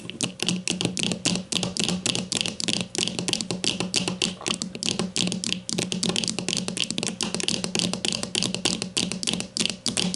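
Long nails on both hands rapidly tap the plastic casing of a grey plastic deodorant stick lying flat. The result is a dense, continuous stream of bright, crisp clicks with almost no ring, over a faint steady low hum throughout.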